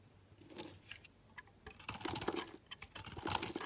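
A solid pink layered bar of soap, held in the hand, is carved into thin slices and cubes with a metal box-cutter blade. Soft, sparse scrapes at the start give way to denser, louder crisp cutting and crunchy scraping. The sound is bright and dry, with little low end and no ring after each cut.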